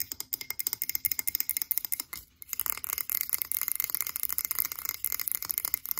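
A tall frosted blue glass candle jar, held upright in both hands, is tapped rapidly on its sides with long pink acrylic nails. The result is a fast stream of sharp, bright clicks that die away almost instantly. The taps come in a rhythmic burst, pause briefly, then resume as a denser, continuous rattle of tapping.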